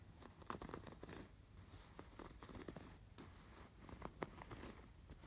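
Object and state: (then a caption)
Embroidered fabric pillow. Fingertips scratch the raised blue and yellow yarn embroidery on a cream woven-fabric canvas pillow. The result is a quiet, dry, scratchy rustle made of quick, uneven scraping bursts over a soft low rumble.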